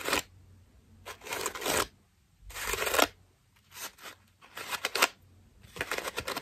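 Long nails scratch the ruffled foam petals of a cream foam bath loofah with a rope loop, held up close. Dry, bright, crackly scratching comes in short bursts separated by near-silent pauses, with fast rustling flutters inside each burst.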